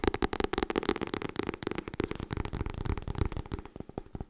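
Fingernails tap quickly on the cover and top edge of a white softcover copy of *Getting Things Done*. The result is a dense, rapid run of short, dry clicks with a papery low thump behind them, easing slightly quieter near the end.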